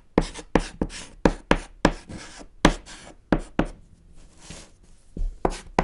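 A thick chalk stick held in the fingers scratches and taps across a small, solid, flat black chalkboard panel while writing text. About twelve short, distinct strokes are heard, each with a sharp onset and quick fade, in a dull, low-weighted scrape with little brightness, separated by brief quiet gaps.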